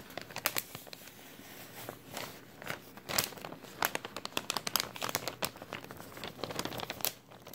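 A thin, empty, clear plastic bag with a white label is crumpled and stretched with the fingertips of both hands. Dense, bright crinkles and sharp crackles come in rapid bursts with little low end and no ringing.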